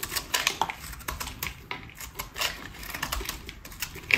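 A metal utility-knife blade scrapes and cuts curls off the surface of a solid pink rectangular bar of dry soap held in hand. The result is a quick run of short, dry, crisp scraping and snapping ticks, bright and high-pitched with very little low end, each dying away almost instantly.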